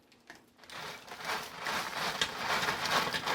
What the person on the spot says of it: I think you can hear how crispy these are.